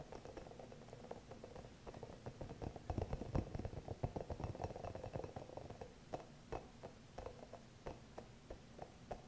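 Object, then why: Rubber spiky massage ball. Long nails tap and scratch the soft spikes of a small green hollow rubber spiky massage ball. Dull, muted taps mix with a dry scratchy rustle in an irregular, quick rhythm. The sound is densest and loudest in the middle, then thins to scattered single taps toward the end.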